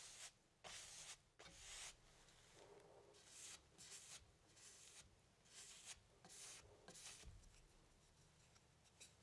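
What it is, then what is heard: Stretched cotton canvas being brushed. A long-handled paintbrush dabs and rubs paint near the bottom right of a medium stretched cotton canvas, thin fabric over a hollow wooden frame, standing on an easel. About eight soft, bright, scratchy brush strokes come at an uneven pace, each a quiet rasping swish over a low, steady background.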